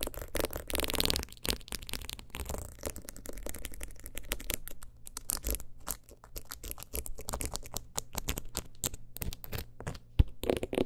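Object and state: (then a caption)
Rhinestone-covered clutch wallet. A single long nail rapidly taps and scratches the stones of a teal rhinestone-covered clutch wallet held at an angle. Dense, quick clicks and gritty scrapes come in uneven bursts over a steady low hum, with a brighter rasping stretch near the start. A sharper, louder tap stands out near the end.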